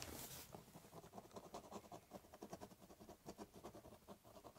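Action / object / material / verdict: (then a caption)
scrape / ballpoint pen on corrugated cardboard box / cardboard / none. A ballpoint pen scratches lines along the top of a large corrugated cardboard box, making a quiet, uneven series of short, papery scratching strokes. The clip opens with a brief bright hiss, then settles into irregular scribbling with a hollow, low body from the cardboard.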